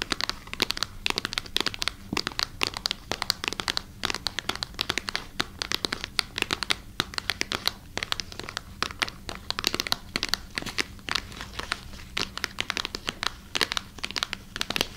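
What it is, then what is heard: Plastic packaging bag. Long nails scratch and crinkle a clear plastic packaging bag with a wooden massager inside, held close beside the microphone. A steady, dense stream of sharp, bright crackles and scratchy rustles runs throughout, with a faint low hum underneath.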